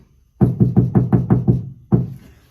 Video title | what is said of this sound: Episode 18: Bells Will Be Ringing, But The Cab Won’t! | you can hear that ringing is gone it takes that out it gets rid of the vibration of the metal gets rid of the ringing obviously you still hear the knocking but it's more of a dull thud